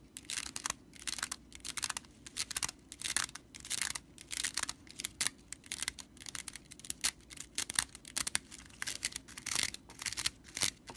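Long purple nails scratch along the bundled dry broomcorn straw of a whisk broom, near its metal-capped handle. The result is a quiet, rapid series of bright, dry, crackling scratches and rattles with almost no low end, each burst cutting off abruptly.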